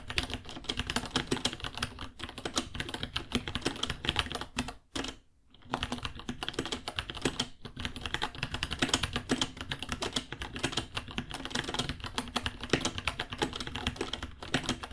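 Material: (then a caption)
Plastic. Fingertips type steadily on a white 66-key mechanical keyboard with plastic keycaps, about 30 cm long, in a hollow case, with Gateron Brown switches. The clacks are dense, quick and bright, with a low thock from the case. There is a brief pause around the five-second mark before typing resumes.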